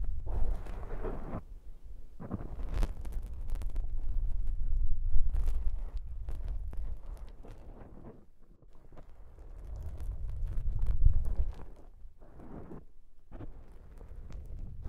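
Fingertips rub, scratch and squish the soft black foam windscreen of a microphone. The result is a heavy, muffled low rumble full of scratchy crackles, coming in dense bursts with short near-silent gaps.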